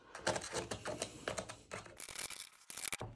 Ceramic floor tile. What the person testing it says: they sound hollow underneath - that there is no glue underneath